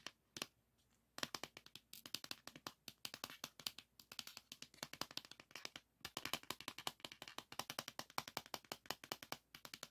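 Fingertips and nails tap rapidly on the paper label and plastic shell of a salmon-orange 3.5-inch plastic floppy disk held in hand. The sound is a dense run of short, dry, bright clicks with almost no ring, starting with a few isolated taps before a brief pause and then continuous quick tapping.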